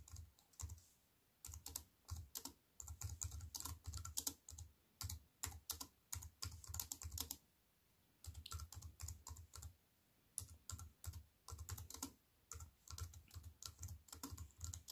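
A compact wireless keyboard with black plastic keys on a grey metal-look frame, lying flat on a wooden table, is typed on with fingertips and long white-painted nails. Bursts of quick, crisp clicking taps come with a low thump beneath each key press, separated by brief pauses. Each tap is short with almost no ring.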